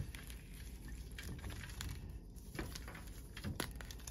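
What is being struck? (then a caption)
Blocks of gym chalk on a metal tray. Fingertips snap and crumble chunks off the edges of large, solid white magnesium-carbonate-style gym chalk blocks resting on a metal tray. Quiet, dry crackles and sharp bright snaps sit over a soft, low, crumbly rumble as the blocks break and crush.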